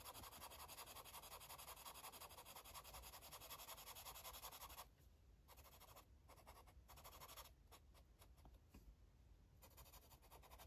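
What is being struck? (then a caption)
Marker tip on a paper page. A yellow marker tip scribbles in rubbing strokes on a paper coloring book page, making a steady, dense, bright scratching. The strokes run continuously for about five seconds, then break into shorter scratching bursts with quieter gaps.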